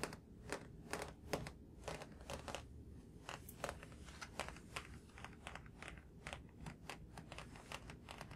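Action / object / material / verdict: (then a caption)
tap / thick paperback book with glossy card cover / paper / none. Fingertips and nails tap quickly and lightly on the glossy card cover of a thick paperback graphic novel, "A Drifting Life," a solid block of paper pages held in both hands. A steady stream of soft, dry taps is heard, each a short bright click over a dull low thud, with a faint low hum underneath.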